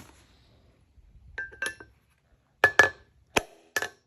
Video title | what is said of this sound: Toyota/Lexus Solid Front Axle Wheel Bearing/Race Replacement & Front Disk Brake Job (FJ80 & LX450) | I heard the change in pitch right there. That sounds solid.